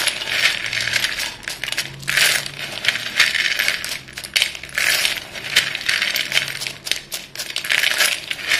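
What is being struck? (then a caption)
Pieces of chalk in a bowl. Chalk-dusted hands stir a pile of solid white chalk sticks in a dark bowl, scooping up the pieces and letting them fall back. The result is a dense, bright clattering of short clinks centred near 3 kHz, swelling and easing in waves with almost no low end.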